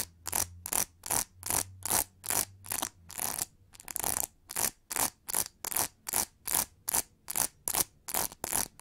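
Long nails scratch back and forth across the textured back of an oval pink plastic hair brush with a hollow plastic shell, making a steady run of short, bright, raspy strokes at about two and a half per second. A faint low hum sits under the first few seconds.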